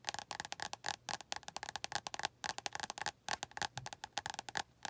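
Long nails tap rapidly on the glossy card cover of an orange paperback book. Around thirty quick, dry, bright clicks come in irregular bursts, each snapping off instantly with a light woody tone near 800 Hz and almost no low end.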